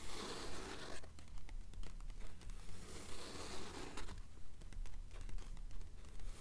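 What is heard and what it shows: Long acrylic nails on both hands scratch and tap across the printed paper pages of an open blue paperback novel lying on a stack of books. The result is a steady run of about 23 dry, crinkly scratches and soft taps at a fairly even pace over a constant low hum.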